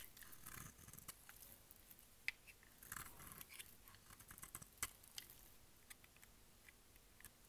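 A solid, dry pink bar of soap is held in the hand while its edge is shaved with a utility knife blade. The result is quiet, irregular scraping and cutting, made of crisp, bright rasps and sharp little clicks. The clicks die away almost instantly.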